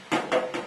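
Three taps on a brand new bonded aircraft skin panel during a tap test, each a short, solid knock with a midrange tone around 500 Hz and a quick decay. The panel sounds solid, with no delamination.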